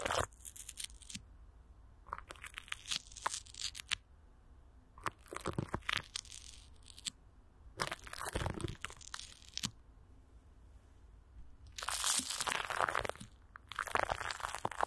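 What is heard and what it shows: Fingertips and long nails rub and scratch clear plastic wrap stretched over a hollow microphone grille, with Vaseline. Bright, crinkly crunching bursts come in bouts separated by short quiet pauses, growing louder and denser near the end.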